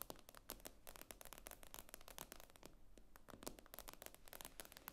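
Long nails tap rapidly on the glass screen of an iPad lying flat, making a dense run of short, sharp clicks with bright, crisp tops. Each tap dies away almost instantly over a faint low background rumble.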